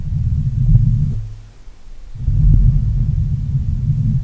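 Fingertips and short nails of both hands scratch and rub the hollow black metal mesh grille of a Blue Yeti microphone. The result is a deep, muffled rumbling scrape with almost no high or bright content. It fades to near silence around the middle, then returns just as thick and boomy.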